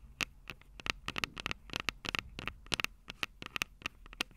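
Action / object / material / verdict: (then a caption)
tap / metal microphone capsules on a handheld recorder / metal / none. Long purple nails tap the silver metal mic capsules of a Tascam DR-05 handheld audio recorder in a quick, irregular run of sharp, bright clicks. Each tap carries a tinny metallic ring near 2.7 kHz that dies away almost instantly, over a faint low rumble.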